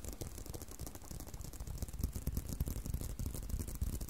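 Fingers tap and scratch on a leather belt, making a quick run of dull, low thumps mixed with a dry scratching rustle. The taps grow louder and sharper partway through and die away almost instantly, with no ringing.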